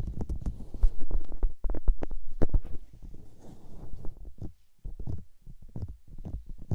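Palms and long-nailed fingers cup and rub the soft, hollow white silicone ears of a 3Dio microphone in a massaging motion. The result is close, muffled rubbing with irregular deep thumps and rumbles that are loud at first, then quieter, with a brief pause before a final stretch of softer rubbing.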